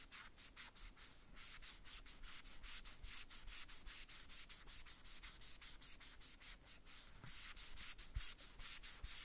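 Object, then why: Small hollow plastic toy boot rubbed with a cloth. Small hollow red plastic boots from a Woody doll are held in the hand and rubbed and wiped with a white cloth or wipe wrapped over the fingertips. Quick, slightly uneven back-and-forth strokes make a steady stream of bright, hissy swishes over a faint low rumble.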